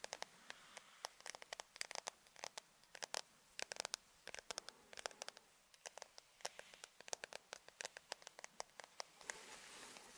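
Fingernails strum and scratch along the long teeth of a large, wide-toothed white plastic comb held in both hands. Quick, dry, bright ticks and clicks come in uneven bursts over a faint hiss, with no low end. Near the end they blur into a steadier, soft scratching rasp.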